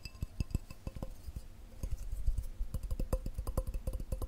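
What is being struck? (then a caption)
Glass cup. A glass cup is tapped quickly with the fingers, producing a rapid, uneven run of short, dull knocks with a faint clink. Each tap dies away almost at once, and the tapping grows denser and louder toward the end.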